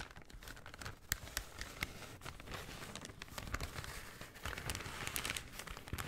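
A folded brown kraft paper shopping bag is unfolded and crinkled by hand, giving a steady, quiet crinkling rustle. Sharp, bright crackles and snaps stand out over a soft low rumble of handling.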